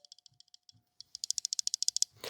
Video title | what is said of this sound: NEW Knife Model BREAKS THE MOLD! KIZER Beyond With Invictus, Justice and Drop Bear | when you shake it you can hear that uh that what do you call that thing the stop pin shaking back and forth